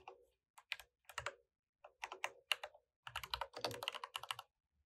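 Fingertips type continuously on an RGB mechanical keyboard with plastic keycaps, the mouse sitting idle beside it. Quick bursts of bright, sharp clacks centered around 2.8 kHz, with brief pauses between runs, each click dying away almost instantly.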